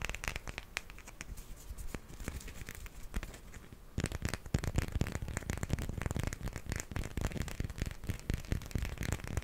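A small solid grey plastic hippo figurine is held in hand and tapped and scratched with fingernails. Dense, rapid clicks and scratchy crackles run throughout. The sound grows louder and busier after about four seconds.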